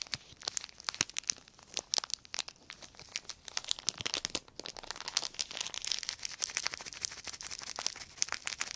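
A small crumpled clear plastic sheet is crinkled and twisted between the fingertips of both hands. The result is a dense run of sharp, bright crackles and pops with almost no low end, swelling into a steadier crinkling hiss midway through before breaking back into crisp snaps.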